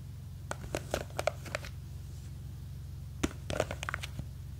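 Long green fake nails grip and scratch a small clear plastic jar full of blue gel beads. They make two bursts of sharp, dry clicks and scratchy ticks with no ring, over a steady low hum.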